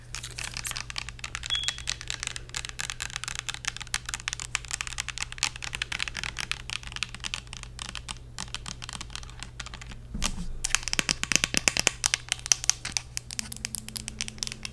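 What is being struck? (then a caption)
Plastic spray bottle filled with liquid. Long acrylic nails tap and scratch a Bath & Body Works "Marshmallow Pumpkin Latte" fragrance mist, a hollow clear plastic bottle filled with orange liquid, with a silver cap and a paper label. The result is a steady stream of fast, bright, dry clicks and scratchy ticks, which grow louder and sharper near the end over a faint low hum.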